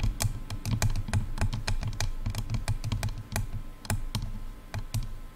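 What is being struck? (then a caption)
Plastic headphone earcups. Long nails tap the sides of hollow, silver plastic over-ear headphone earcups in a quick, irregular run. Each tap gives a short, bright click over a hollow, low thump, with very little ring after each hit.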